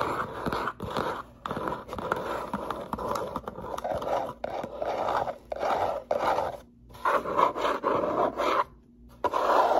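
Long nails scratch and tap the top edge and front face of a small, closed, hollow brown corrugated cardboard box. Dry, papery scratching comes in repeated bursts separated by short silences, with quick taps mixed in. The sound is mid-pitched, centered near 1 kHz, with little low end.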